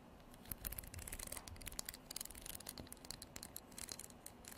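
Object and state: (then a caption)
Wooden comb strummed. A wooden comb is held horizontally in both hands while fingernails flick and strum across its teeth. The result is a quiet, irregular series of dry, bright clicks and brief plucked ticks that die away almost instantly, over a faint low rumble.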